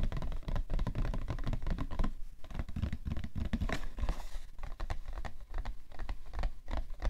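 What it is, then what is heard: Cardboard tissue box. Fingernails scratch and fingertips tap the top of a cardboard tissue box, with some light knocks. Rapid, dense taps and scratchy strokes overlap into a steady patter, mostly dull, low thuds with brief brighter scraping bursts that die away almost immediately.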